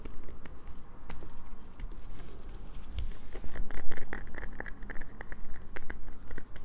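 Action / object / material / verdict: scrape / soap bar / soap / none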